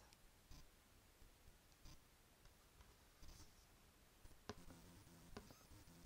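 A closed, medium-sized, hollow printed green cardboard subscription box (Biotyfull Box) is held up beside the microphone and scratched and tapped with long painted fingernails. Soft, low scratching rustles are broken by short, dry taps. Two sharper knocks near the end stand out with a brief hollow resonance.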